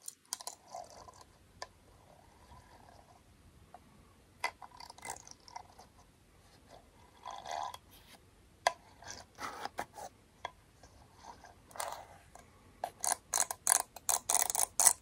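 A small, closed, round aluminum beard balm tin has comb teeth ratcheted along its rim. The result is a run of dry, bright mechanical clicking scrapes that come in short bursts and grow denser and louder toward the end.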